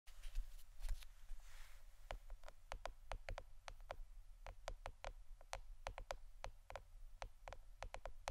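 A plastic board shaped like a shirt is tapped with the fingernails, giving a quick, irregular string of short, dry, bright clicks that stop almost instantly. The taps are quiet and sit over a steady low hum.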